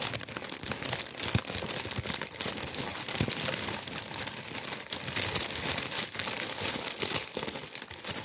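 A tan kraft paper bread bag is held close and crinkled and rubbed by hands. A dense, continuous, bright crinkling and rustling runs throughout at a fairly even level, with small crunchy spikes and little low end.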